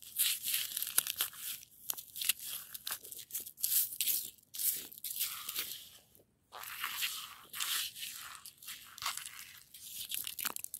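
Long nails scratch and pick at a solid, crystalline crust of frozen, icy snow. The sound is a bright, crisp run of crunchy, crackling scrapes with sharp ticks mixed in. There is a short pause partway through before the scratching resumes.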